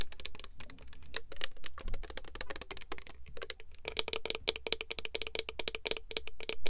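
Long nails tap on the gold cap and the clear plastic body of a Pure Seduction mist bottle filled with red liquid. The result is a rapid run of dry, bright plastic clicks with almost no ring, over a steady low hum. The tapping grows denser and sharper in the second half.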